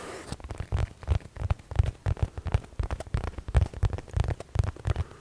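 Fingertips scratch and rub a medium padded blue nylon zip case held up close. The result is an irregular run of soft, muffled scuffs and rustles with deep, thumpy low-end bumps and almost no bright content.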